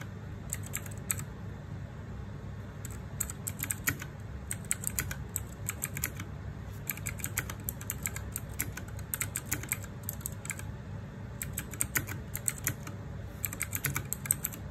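Fingertips and nails type on a small RGB-backlit 60% mechanical keyboard with plastic keycaps, producing bursts of crisp, bright, short clicks separated by brief pauses. A steady low hum sits underneath the whole clip.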